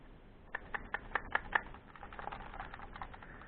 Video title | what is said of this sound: PS3 Slim Satın Aldım. | Bunun içi açılmış bir şey olmuş. Yani parçası mı yerinde yerine oturmamış yoksa bir şey mi olmuş bilmiyorum.